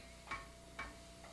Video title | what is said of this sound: Instructions on Breaking for Martial Artists - Dillman Karate International | if I take a cement block and tap it you hear a little ring